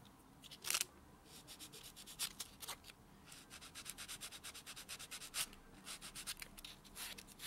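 A white solid foam buffer block is rubbed along the natural fingernails of a hand lying flat on a dark textured surface. A quick run of short, soft, bright scratchy strokes, mostly high hiss with almost no low end, comes in uneven bursts over a faint background.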